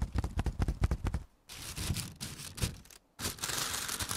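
Fingertips and nails tap and scratch the clear plastic film wrapped around a large bundle of stacked white foam trays marked "24" in red. A quick run of dull, low taps comes first, then after a brief silence come bursts of bright, crinkly scratching, broken by another short pause.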